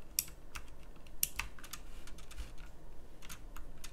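Fingertips of both hands type fast on a pink plastic mechanical typewriter-style keyboard with round plastic keycaps. About a dozen sharp, bright, clicky keystrokes land in quick irregular succession, each dying away almost instantly over a low, steady background rumble.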